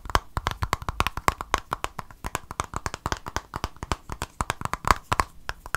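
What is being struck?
Small plastic squeeze tube.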